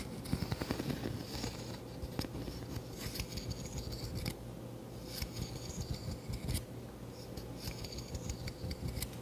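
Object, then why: Wooden wide-tooth comb. A fingertip runs across the teeth of a hand-sized, solid wooden wide-tooth comb held up in front of the microphone, scratching and flicking them. The result is a quiet stream of short, dry ticks and scratchy rasps with bright, crisp edges, coming in loose bursts over a steady low hum.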